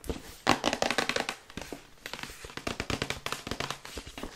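Long nails tap quickly on the front and side panels of a printed paperboard Yeti microphone box as it is held and turned in the hands. About 22 crisp, dry, bright taps come in rapid uneven bursts, each dying away almost instantly with little low-end body.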